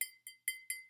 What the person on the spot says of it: you could try a glass and a plastic cup and see the difference